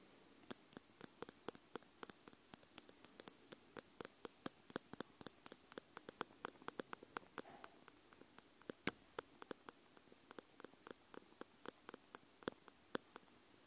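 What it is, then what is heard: Metal microphone capsule housings tapped with tweezers. The tips of metal tweezers, held in both hands, tap and scratch the small hollow round metal capsule housings of a Tascam X-Y recorder. Dozens of sharp, dry, bright clicks and ticks come in an irregular stream over a faint hiss. Each one dies away almost instantly with no ring.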